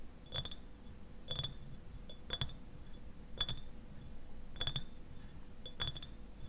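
Fingernails tap the sides of a clear, medium-sized glass eyewash bottle that stands upright and is partly filled with liquid. The taps come in short, quick clusters spaced about a second apart, each giving a bright glassy clink with a ringing tone near 3.4 kHz that dies away almost at once. A quiet, low rumble sits underneath.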